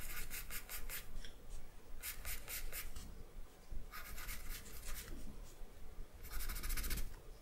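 An orange wooden pencil with a dark core makes short scratching strokes on a flat sheet of drawing paper resting on a wooden table. Quick, bright, dry scratches come in four clustered bursts separated by brief pauses, over a soft low background hum.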